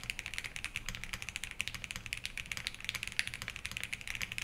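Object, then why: Mechanical keyboard with ABS keycaps and metal case. A compact 65% Think6.5 v3 mechanical keyboard with Harmony on an FR4 plate, in a black metal case with white ABS keycaps, sits on a wooden desk while both hands type continuously with their fingertips. The result is a steady stream of quick, crisp, high clacks centered around 2.5 kHz, each dying away almost instantly over a faint low thud.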